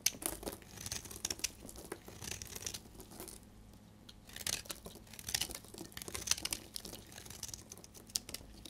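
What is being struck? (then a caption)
Bar soap shaved with a blade. A solid, oval, translucent amber bar of dried soap is held in the hand and shaved with a utility blade, curling off yellow shavings. Each pass gives a dry, crisp, crinkly scraping with bright, crackling grit and little low end. The strokes come in bursts, with a brief quieter pause partway through.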